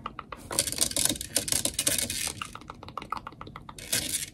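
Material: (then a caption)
Metal mesh. Long nails rapidly tap and scratch the black metal mesh grille on the hollow head of a blue desktop microphone. Quick, crisp clicks blend with bright, hissy scratching bursts, and each tap dies away almost instantly.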